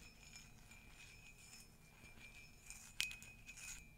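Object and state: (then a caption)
Empty ceramic mug. Long nails lightly scratch and tap a flared, hollow, empty ceramic mug with a pastel carousel print, making soft, bright scraping over a quiet background. Near the end, a sharper tap gives a brief, clear ring around 2.5 kHz that fades quickly, followed by a few softer touches.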